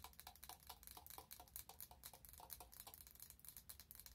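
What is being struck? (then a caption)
Glass candle jar. A wide glass candle jar filled with orange wax, with a clear lid, is held up and tapped quickly with long nails. The result is a rapid, quiet stream of short, bright ticks that die out almost instantly, over a faint low hum.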